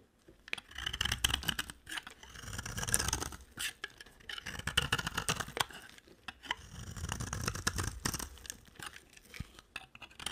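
A utility knife blade scrapes and carves the surface of a dry, solid, cream-colored soap bar. Bursts of crisp, bright scraping and crackly shaving noise rise and fall in waves, separated by short pauses, with a faint low thud under the strokes.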